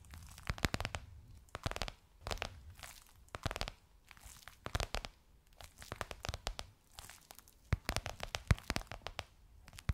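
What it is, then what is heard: Faux leather cushion cover tapped with nails. Long nails tap and scratch across a gold crocodile-embossed faux leather pillowcase on a soft cushion. Quick bursts of crisp, crinkly tapping and scraping come in clusters with short pauses between them, over a soft low thud. Each tap is dry and dies away almost at once.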